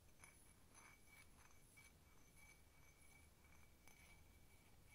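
A hollow, empty blue patterned cup that appears ceramic is tapped with long nails on its sides and rim. Quiet, quick clinking taps ring briefly with a bright tone near 2.3 kHz over a steady low rumble.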